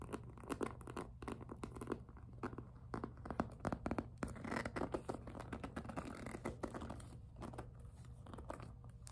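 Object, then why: Soft PVC plastic handbag. Long nails tap, scratch and grip the smooth surface of a hollow pink jelly PVC handbag. The result is a dense run of quick, dry plastic clicks and scratchy scrapes over a steady low hum. The sound stays fairly quiet and close, with no bright high end.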